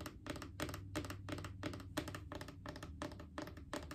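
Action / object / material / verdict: tap / plastic wipes canister / plastic / none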